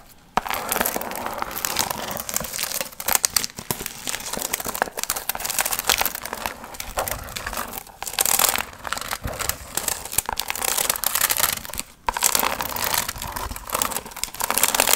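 Long acrylic nails scratch and crinkle a medium, hollow, pumpkin-shaped paper piñata covered in gold and orange metallic foil fringe. The result is dense, bright, continuous crinkling and rustling with little low end, briefly dropping out just before the 12-second mark before resuming.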